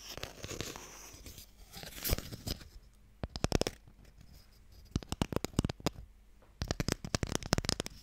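Fingernails scratch and tap a small, long, hollow wooden Mikado box with a printed lid. A dry, rustling scratch fills the first few seconds, then quick bursts of sharp, hollow taps follow in clusters. Each tap stops almost instantly, with no ring.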